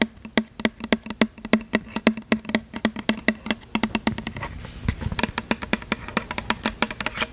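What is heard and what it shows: Long fingernails tap rapidly and repeatedly on the label of a tall plastic "Butterfly" fragrance mist spray bottle with a gold pump top, held in one hand. Around 49 crisp, bright clicks with a short, hollow low tone near 220 Hz die away almost instantly. Past the midpoint they come quicker and less evenly over a faint hiss.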